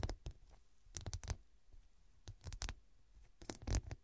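Long, dark, pointed nails tap rapidly on the square faceted glass studs covering a medium, soft, filled fabric cushion. Short clicking taps come in quick bursts with slight scratchy texture, mostly low and dull with brief bright edges, and each tap dies away almost instantly into near silence between clusters.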